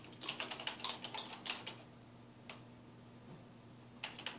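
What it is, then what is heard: Plastic computer keyboard being typed on. Fingertips type on a dark plastic desktop computer keyboard resting on a wooden desk. A quick run of bright, crisp keystroke clicks fills the first two seconds, followed by a lone click and then a short final burst, about fifteen keystrokes in all. A faint low steady hum sits underneath.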